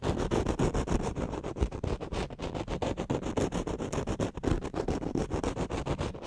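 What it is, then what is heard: Foam microphone windscreen being scratched. Flat fingers rub and scratch across the top of a black foam windscreen on a studio microphone, with the hand held in the same position throughout. The result is a steady run of rapid, rough scratching strokes, a dense, muffled, low-heavy rustle with little bright content.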